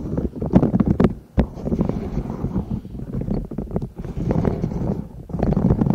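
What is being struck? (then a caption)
Silicone pop-it pencil case. Long nails scratch and tap the silicone bubbles of a hollow yellow and pastel silicone pop-it pencil case with a zipper, held close over the microphones. The result is a dense, muffled, low-heavy rustle full of soft scratching and scattered sharp, bright taps. It pauses briefly near 1.3 seconds and again near 3.9 seconds.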